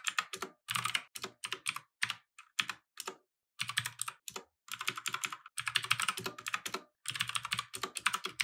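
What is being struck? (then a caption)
Mechanical keyboard with plastic keycaps. Fingertips type continuously on a compact mechanical keyboard with plastic keycaps resting on a wooden desk. Quick, bright clicky clacks come in rapid bursts separated by short pauses, with a soft low thump under some strokes. Each keystroke dies away almost at once.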